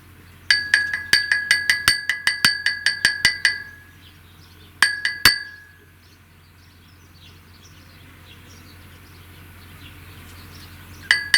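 A handmade clay ball, dried in the shade for a week, is knocked against wood, concrete and metal as a strength test, giving about twenty short, bright, glassy clinks with a clear ringing tone. The clinks come in a quick run, then a short burst of three, then a long quiet pause with a faint low hum, before two more knocks at the end. The knocks give a good, clean sound, and the ball shows no cracks.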